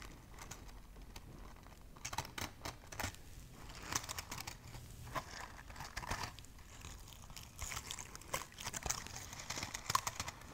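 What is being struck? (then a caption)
Burlap jute-covered ornament ball. Long nails tap and scratch a palm-sized, burlap jute-covered Christmas ball decorated with a pinecone, a pine sprig and a red ribbon. The result is a quiet, dry, crinkly scratching with scattered soft taps that carry a bright, rough texture and stop short without ringing.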